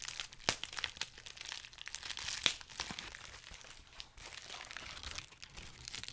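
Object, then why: Plastic bubble wrap sheet. A clear plastic bubble wrap sheet is held close to the mic while fingers pinch, pop and crinkle the bubbles. A steady bright, dry crinkling runs throughout, broken by sharp snapping pops, the loudest near the start and around the middle.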